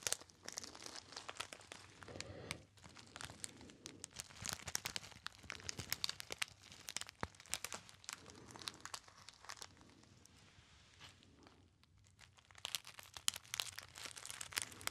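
Fingertips crinkle a small, hollow, apparently empty gold metallized foil pouch, producing dense, bright crackling and crunching with sharp crisp snaps over the whole clip. The crinkling eases to a quieter, sparser patch around 10 to 12 seconds before picking back up.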